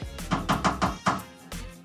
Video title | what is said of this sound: Blackwater tank explodes, dodge an unanchored boat, and held hostage by weather. Ep.3 — Lake Worth | nice and empty now it sounds empty